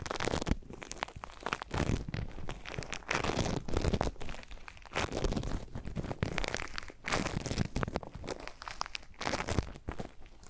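A small handful of soft, solid pink foam-bead slime (floam), held close, is squeezed, squished and kneaded between the fingertips of both hands. Dense, continuous crunchy crackling and crinkling pops come in surging bursts over a heavy low rumble, with brief quieter lulls between squeezes.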